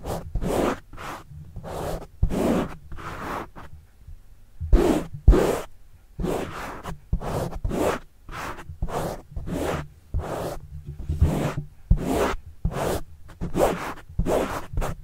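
Fingertips scratch and rub the black foam windscreen on a microphone in a steady series of short strokes. Each stroke is a close, scratchy rasp with a heavy low rumble and a faint bright hiss. The strokes come in uneven quick and slower bursts with brief pauses between them.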